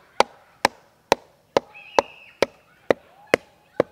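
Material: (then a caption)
Wood. A person knocks a small yellow-headed mallet nine times at chest height along a large standing tree trunk of solid wood with thick bark, about 60 cm across, outdoors beside a paved path. Each strike gives a short, dry, mid-pitched wooden knock that dies away almost instantly, with a faint high whistling tone drifting in the background between some of the knocks.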